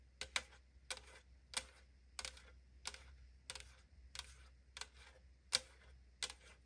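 Long nails tap lightly on the side of a tall AriZona aluminum drink can held in the hand, making twelve quick, bright, metallic clicks at a fairly even pace. Each tap is sharp and dies away almost at once with a short fizzy ring, over a faint steady low hum.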